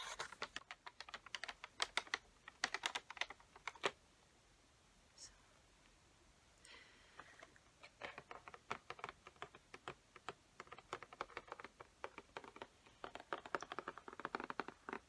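Long fingernails tap and scratch a large peacock-print cardboard Sharpie box and its clear plastic window showing the markers inside. Quick, bright, dry clicks come in dense bursts, fall to a near-quiet stretch with a faint scratch, then pick up again in rapid taps.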